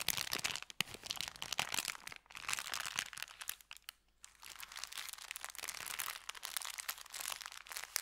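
An empty, folded brown kraft paper bakery bag lies flat on felt and is rubbed and pressed with the fingertips, giving dense, bright crinkling and crunching with almost no low end. The rustle runs nearly continuously, with a brief dip just after two seconds and a short near-silence around four seconds before it picks up again.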